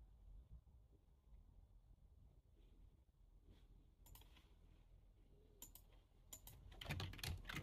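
Fingertips with short nails press and tap the keys of a full-size black plastic computer keyboard resting on a desk in slow typing. Sharp, bright plastic clicks come sparsely over a low, steady rumble, then grow quicker and louder toward the end.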